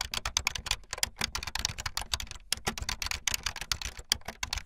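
Fast typing on a full-size backlit plastic Bluetooth membrane keyboard with white and blue plastic keycaps and a hollow plastic body, the keys pressed with fingertips and the tips of long painted nails. A rapid, steady stream of short, bright clacking taps dies away almost instantly, with a light hollow thump beneath each press.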